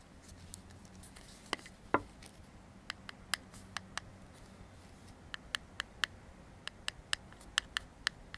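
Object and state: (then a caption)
Metal aerosol can scraped with a comb. The teeth of a black plastic comb are scraped along the metal body of an aerosol deodorant can held in one hand. This produces 19 short, sharp, bright metallic clicks and ticks, spaced irregularly over a quiet background. One stronger, lower thud comes near the start.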